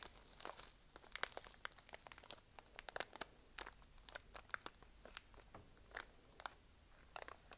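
A small sealed Nature Valley granola bar in a crinkly plastic foil wrapper, held in both hands, is tapped, scratched and squeezed with long nails and fingertips. The result is a quiet stream of sharp, bright crinkles and crisp clicks with little low end and almost no ring.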